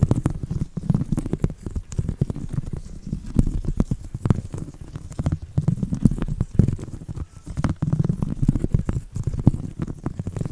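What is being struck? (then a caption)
Woven seagrass coaster. A round woven seagrass (straw) coaster is scratched with a thin copper metal tool and fingertips. The result is a dense, continuous run of dry, crackly scratches and quick clicks, mostly low and muffled, swelling and easing in uneven waves.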